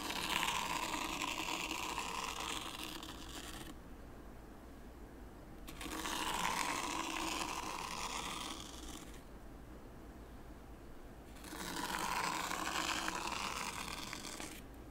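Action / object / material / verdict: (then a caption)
scrape / fine sand in a shallow wooden tray raked with a small wooden rake / sand / none. A small wooden rake, held by the fingertips, is dragged through fine white sand in a shallow light-wood tray, scraping parallel lines. Three gritty, bright scraping passes are heard, each a few seconds long, with a hollow tone near 1 kHz and short quiet pauses between them.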